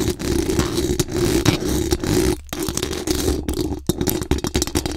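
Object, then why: Metal mesh microphone grille. Very long acrylic nails scratch fast across the hollow metal mesh dome grille of a large condenser microphone. The result is a dense, rasping scrape with a strong low-mid tone, broken by brief pauses near 2.4 and 3.8 seconds before the scratching resumes in quick bursts.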